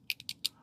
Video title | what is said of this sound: 20 Knives You Wouldn't Expect Are Knives | you're going to hear it jingling around but there's no rattle no tap